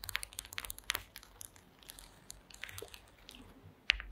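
Long acrylic nail tips tap and scratch across a flat woven placemat made of small wooden slats. The result is a quiet, bright run of dry clicks and crinkly scratching that fades briefly in the middle, then ends with a sharper, louder tap near the end.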